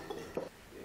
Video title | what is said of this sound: 【Food Documentary】体验广东最大的海鲜市场，凌晨12点热闹非凡，亲密感受生猛海鲜的魅力！ | With a click, the shell cracked